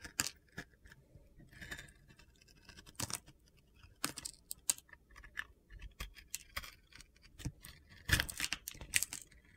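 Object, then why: Bar of soap scraped with a metal blade. A metal utility knife blade shaves and scrapes slices off the surface of a solid rectangular bar of soap coated in pink and blue glitter, held in hand. A quiet series of short, crisp, gritty scrapes and cuts comes in uneven bursts, bright and high with little low end, and each stroke stops almost at once.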